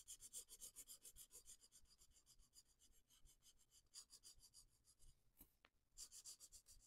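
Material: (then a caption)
Paper. A felt-tip marker is rubbed in short, quick strokes over the flat paper page of a spiral coloring book lying on a wooden table, while the other hand holds the page. The result is a quiet, bright, scratchy rasping that repeats in an uneven rhythm of about four strokes per second. The strokes pause briefly with a faint tick near the end, then resume.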